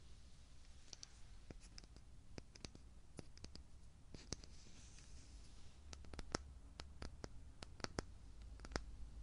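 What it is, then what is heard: Small glass jar tapped with fingernails. Fingernails tap and click on the black lid and glass body of a small, full glass jar with an orange label, held in the hand. Quiet, sharp, bright clicks come at an irregular pace over a steady low rumble. Each click dies away almost instantly.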